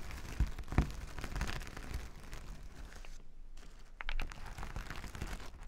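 A flat sheet of reversible plastic sequin fabric lying on a table is rubbed and scratched with plastic finger-massager tools worn on both hands. The result is dense, crackly crinkling and scratching with short clicky bursts and a couple of sharper taps. There is a brief quiet gap before a louder rubbing swell returns.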